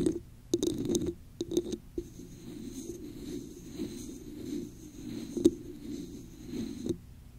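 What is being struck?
Textured plastic cup.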